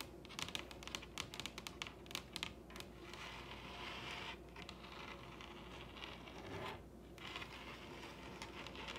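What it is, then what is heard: Wooden table top. Long red nails on both hands tap a large, solid wooden table top, making quick, bright clicks for the first few seconds. The tapping then turns into a steady, dense scratching and rustling texture across the wood. The whole clip stays quiet and close, with each tap dying away almost at once.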